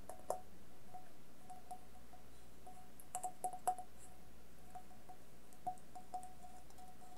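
A hollow, empty stainless steel bowl covered in coloured tape, glitter and rhinestones is held upside down and tapped and scratched with long nails. Quiet, scattered light taps each set off a clear metallic ring around 740 Hz with a bright shimmer above it. The tone hums on steadily between taps and lingers for several seconds.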